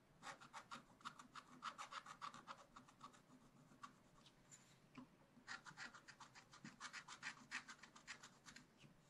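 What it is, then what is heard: Scratch-art card scratched with stylus. A wooden stylus scratches a thin black-coated scratch-art card on a spiral-bound page, lying flat, in short repeated strokes along the bamboo lines. The strokes come as quick, bright, raspy scrapes in two rapid bursts, with a quieter gap of light rubbing in between. Each stroke is dry and short, with no ring after it.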